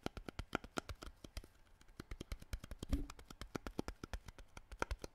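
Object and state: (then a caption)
Plastic water bottle. Fingertips rapidly tap and crinkle a clear, hollow, mostly empty plastic water bottle with a green cap, held up in the air. Quiet, dry, short clicks and taps follow one another in a steady stream, with a louder crinkle of the plastic near the middle.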